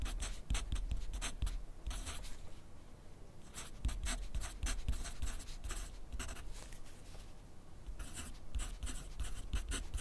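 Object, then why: Graphite pencil on a paper sheet on a clipboard. A yellow wooden graphite pencil writes continuously on a thin grid paper sheet resting on a white clipboard. Its tip makes clusters of short, bright scratching strokes over a low, steady rumble, with a brief quieter pause between bursts.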